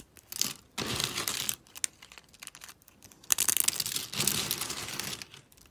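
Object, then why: Thin soap flakes. Fingers with long pink nails snap and crumble a pile of thin, brittle, dry soap flakes in pastel pink, blue and green. The result is dry, bright, crackly crunching in dense bursts with little low end, separated by short quiet gaps with faint scattered crackles.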